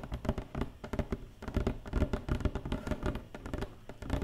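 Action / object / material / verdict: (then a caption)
tap / empty open cardboard box tray tapped with fingernails / cardboard / none. Long painted nails tap rapidly inside an empty, open black cardboard box tray. The result is a stream of dull, hollow, low-pitched taps with light scratchy texture, each dying away almost at once.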